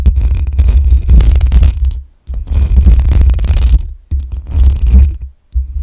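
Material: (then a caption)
Metal mesh. Long nails scratch the hollow metal mesh grille of a black USB microphone, producing a deep, rumbling, scratchy rasp that is almost entirely low in pitch. The scraping comes in bursts, broken by short silent gaps where the hands briefly lift off the grille.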